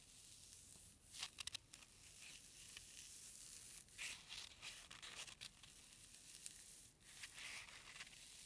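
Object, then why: Foam packing peanut. A single small white packing peanut of solid foam is bent and squeezed between thumb and fingers, rubbing against itself. It gives off bursts of bright, dry squeaking and crinkling over a faint hiss, with almost no low end.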